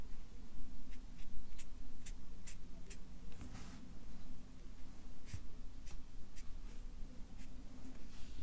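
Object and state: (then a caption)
Felt-tip marker drawing on paper. A Sharpie marker draws fish outlines and fin lines on a stack of white paper resting on a clipboard. Its felt tip rubs the paper in short, bright scratchy strokes at an irregular pace over a steady low hum.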